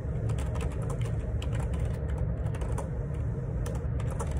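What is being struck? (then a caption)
Plastic keyboard keys. Fingertips type a steady run of key taps on the plastic keycaps of a black plastic Perixx Periboard 612 wireless Bluetooth dual ergonomic split keyboard resting on a grey table. Bright, quick clicks ride over a constant low rumble that holds the level steady throughout, with little other background noise.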